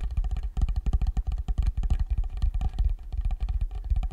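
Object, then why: Small wooden block or box. Fingertips and nails tap on the top surface of a small, rectangular, dark wooden block or box, possibly hollow, held in front of the microphone. The tapping is quick and steady, making deep, bass-heavy thumps with a low boom around 59 Hz. Each tap dies away almost instantly with no ring.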